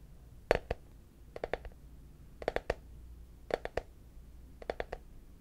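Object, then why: Small frosted plastic case. A small hollow, translucent frosted plastic case, apparently empty, is held in both hands and tapped with fingertips and short nails. About fifteen quick, dry taps come in short clusters of two to four, each with a hollow midrange knock near 490 Hz, a bright clicky edge, and almost no ring, over a quiet background.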